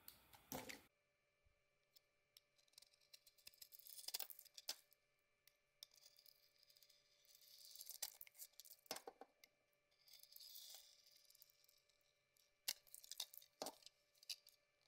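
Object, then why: Bar of soap shaved with a metal blade. A solid rectangular bar soap with a ridged metallic rose-gold coating and a cream core is held in the hand and shaved with a metal box-cutter blade. Quiet, bright, crisp scraping strokes come in repeated bursts, with sharp clicks and faint crinkling between them, while a low steady hum sits under the whole clip.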